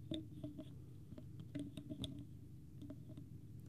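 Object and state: Plastic bottle cap.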